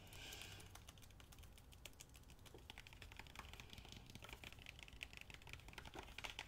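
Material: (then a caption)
Cardboard. A medium-sized, solid pink hardcover book with paper/cardboard boards and a glossy cover is held in one hand and rapidly tapped with fingernails and fingertips on its cover and spine. It produces a quiet, continuous stream of quick, dry, bright clicks with almost no ring, centered around 2.5 kHz, over a soft low rumble.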